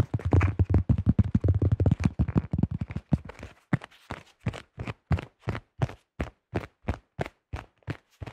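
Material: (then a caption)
Plastic. Fingertips tap quickly on the top and rim of a yellow, thin-shelled plastic disc golf disc. A dense, rapid flurry of dull, hollow thumps thins out into steadier, separate taps. Each tap is short and low with almost no ring.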